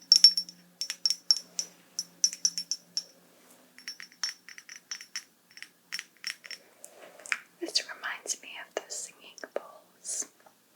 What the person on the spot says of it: kind of similar like almost musical sound